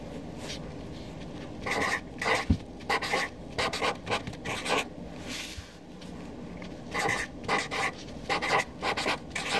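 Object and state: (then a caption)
Felt-tip marker writing on paper. A Sharpie felt-tip marker writes names on a flat white paper sheet lying on a desk, its tip scratching across the paper surface. Short bursts of bright, dry scratching come in two clusters with a quieter pause between them, and a low steady hum sits underneath.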